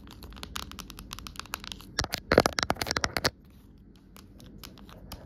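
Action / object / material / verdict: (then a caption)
tap / plastic phone case / plastic / none. Long nail tips tap rapidly on the back and rim of an empty, amber-tinted clear plastic phone case lying on a rug, producing dry, bright clicks with no ring. The taps grow denser and louder, peaking around the middle of the clip, then stop abruptly, leaving a few faint, scattered clicks over a quiet background.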